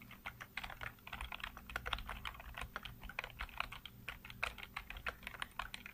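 Fingertips type rapidly on a full-size black plastic computer keyboard with blue backlight, producing a continuous stream of quick, crisp key-press taps. The clicks are bright and short with almost no ring, over a faint steady low hum.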